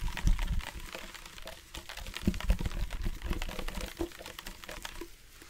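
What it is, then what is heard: Plastic water bottle partly filled with water. Fingertips and nails tap near the top and side of a hollow black hard-plastic sports water bottle with a flip-top cap, partly filled with water. The result is a rapid, irregular run of light, clicky taps over dull low thuds, each dying away almost instantly, with the strongest knocks near the start.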